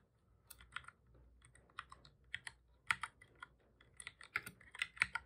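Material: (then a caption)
Plastic. Fingertips of both hands type on the plastic keys of a black full-size computer keyboard. About 14 short, dry, bright clicks come at an uneven pace, with little low end and almost no ring between presses.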